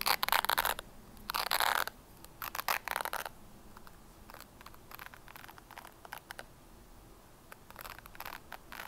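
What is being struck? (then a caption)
Plastic hairbrush. Long painted nails scratch and flick the white plastic bristles and solid body of a hand-sized red plastic hairbrush held close to the mic. Dense, bright scratchy bursts come first, followed by sparser, quieter clicks and short flicking ticks. The sounds are dry and crisp, with almost no ring and little low end.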